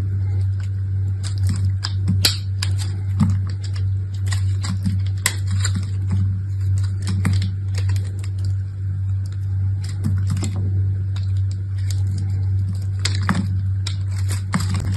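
A utility knife blade scrapes and cuts shavings from a hand-sized, solid bar of dried, crusted, multicolored layered soap held in one orange-nailed hand, with soap chips piled below. Irregular crisp, bright scraping and cutting ticks fall over a steady low hum throughout.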